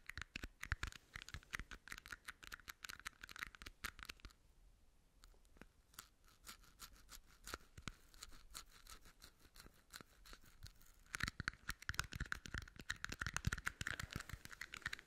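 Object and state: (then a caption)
Plastic party cups. Long nails rapidly tap and scratch the bottoms and sides of two small, hollow red plastic party cups, making crisp, hollow clicks with a bright plastic ring. The tapping is dense at first, thins into quieter, sparser taps and scratches through the middle, then returns louder and faster to the end.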